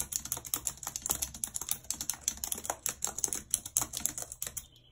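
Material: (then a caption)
Plastic. Long red acrylic nails type rapidly on a full-size white plastic computer keyboard with a numpad and hollow keys, lying on a world map. The result is a steady stream of quick, bright, clicky taps that die away instantly, trailing off into quiet just before the end.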